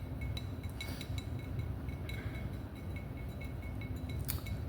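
A glass wine bottle is tapped repeatedly, giving short glassy clinks with faint ringing tones over a steady low rumble.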